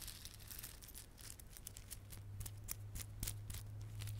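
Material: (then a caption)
Plastic. Fingertips rub and squeeze a small clump of plastic garland held in both palms: glossy dark blue and silver solid plastic beads with red spiky plastic fringe. It makes a quiet, dense run of bright clicking and crinkling over a steady low hum.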